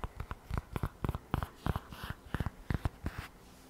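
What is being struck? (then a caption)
Polyurethane and microfiber tablet folio case. Long nails tap and scratch the front of a lavender polyurethane/microfiber iPad folio cover, with the tablet inside and the flat panel held in both hands. The result is a quick, uneven series of dull, low-heavy taps that die away almost instantly, broken by short brushing scratches.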